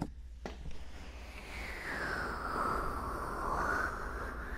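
Both hands cup the white silicone ears and plastic housings of a 3Dio binaural microphone while long manicured nails scratch and rub the ear surfaces. A few sharp taps open into a continuous, close scratching and rubbing noise over a low rumble, with a hollow, whooshing band that swells and dips. The sound grows steadily louder and denser before easing slightly at the end.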